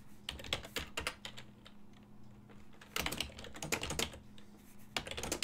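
A full-size silver-and-black plastic desktop keyboard with hollow key switches, resting on a wooden desk, is typed on with fingertips and short nails. Rapid, bright, hollow key taps come in quick bursts, with a quieter stretch in the middle before the typing picks up again. Each click dies away almost instantly over a faint steady low hum.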